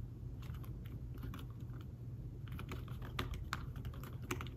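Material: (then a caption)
Fabric. Fingertips type on a thin folio tablet keyboard with fabric-covered keys, making soft, muffled taps and short clicks in an irregular, steady rhythm. A constant low hum sits underneath throughout.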